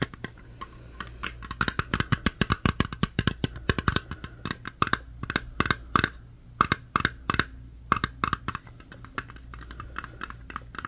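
Long fingernails tap and scratch the lid and metal rim of a small round metal Crazy Aaron's putty tin held close. Rapid, uneven clicks with a short, bright metallic ping around 1.2 kHz sit over a steady low hum, and the tin's ring dies away almost instantly after each tap.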